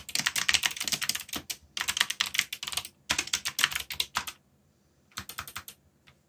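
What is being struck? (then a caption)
Mechanical keyboard with plastic keycaps. Fingertips, one wrapped in a bandage, rapidly press keys on a full-size backlit mechanical keyboard with black plastic keycaps bearing Korean legends and hollow switch housings. Quick, bright, clacky keystrokes come in dense bursts, broken by short pauses and a longer gap near the end. A final few taps trail off.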